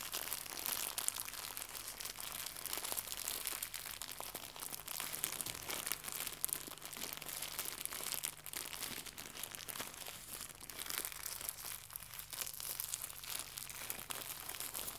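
Fingertips crumple and crinkle a small white translucent pack of plastic packaging film. They make a steady, dense stream of bright, crackling crinkles for the whole clip, with no pauses. The level stays fairly quiet throughout, and a faint low hum sits underneath.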